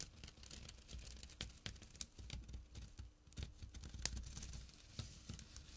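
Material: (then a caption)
Jute. A small, empty jute burlap pouch with a drawstring, resting on dark cloth, is scratched with fingertips and short nails. Quiet, dry, rough scratching and crinkly rasping continue throughout, broken by sharp, bright ticks over a soft low rumble.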